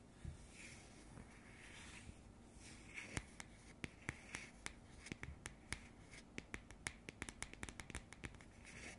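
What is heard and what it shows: Long nails and fingertips scratch and rub the surface of a round cardboard coaster. A soft, dry rustle opens the clip, then quick, sharp nail clicks and taps break through it, coming faster toward the end. Each tap is bright and dies away almost instantly over a quiet, close, steady scratching texture.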